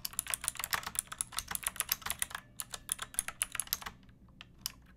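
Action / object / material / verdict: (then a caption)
tap / plastic mechanical keyboard / plastic / none. Long nails and fingertips type quickly on a backlit pink mechanical keyboard with round plastic keycaps and a hollow plastic case. About 28 short, bright, clacky key strikes come in a steady run with almost no ring and little low end. The typing thins to a few quiet taps and one last sharp click near the end.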